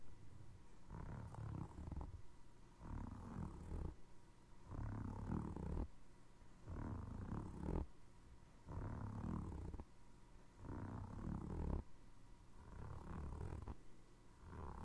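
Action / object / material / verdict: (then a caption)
scrape / foam rubber clog sole / foam rubber / none. Fingernails scratch along the grooves of a navy foam rubber Crocs clog's treaded, ridged underside, with its logo facing the mic, and fingertips tap the sole. Soft, muffled bursts of scraping and tapping come in waves about every two seconds, deep and low with almost no bright edge.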